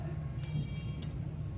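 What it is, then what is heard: Steel top piston ring ringing when struck. A steel top piston ring is struck twice against the block while held loosely rather than gripped, which lets it ring. Each strike gives a bright, chime-like clink with a short ring, over a steady low hum.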